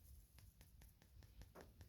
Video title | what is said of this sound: 860 Work Shop Work | that one's heavy it's not dried out yet i mean you can hear the difference in the knock